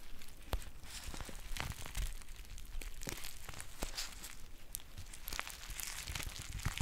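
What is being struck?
Foil tea pouch.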